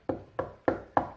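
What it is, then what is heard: Hollow plasterboard wall. A plasterboard wall is tapped four times at the spot planned for drilling to fit a curtain pole, giving short, evenly spaced knocks with a midrange, hollow tone and almost no ring. The sound marks the wall as hollow plasterboard rather than the solid corner.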